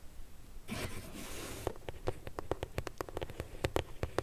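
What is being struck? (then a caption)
Corrugated cardboard box. Long nails scratch across the lid of a closed, medium pink corrugated cardboard shipping box, then tap on the box's front side while it is held. A soft, breathy scraping rush is followed by a quick run of sharp, hollow taps with a bright click at the top and a dull papery thump beneath.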